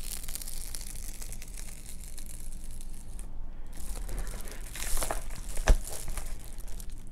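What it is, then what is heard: Bubble-foil car sunshade. Long nails scratch and pinch the surface of a large reflective, metallized bubble-foil car windshield sunshade lying on a table. The result is a steady crinkling, scratchy rustle over a low rumble, with a brief lull in the bright hiss midway and two sharper crackling pinches near the end.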